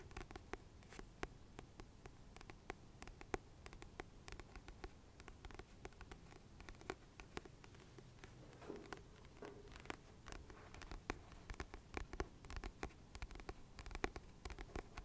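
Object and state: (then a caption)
Paperback book, glossy cover tapped and scratched. A medium paperback book with a glossy paper cover is held in the hands while fingertips and nails tap and scratch the solid cover. Quiet, rapid, dry taps and scratchy strokes continue throughout, each click dying away almost instantly over a soft low rustle.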